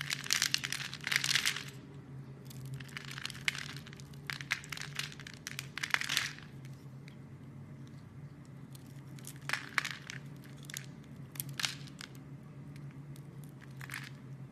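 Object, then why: Bar of soap scraped with a metal blade. A metal blade scrapes and carves small cubes and shavings off a solid rectangular pink bar of soap held in a hand with long red nails. Bright, crisp crunching and scratching bursts come in clusters, with short sharp cracks between them. A steady low hum runs underneath throughout.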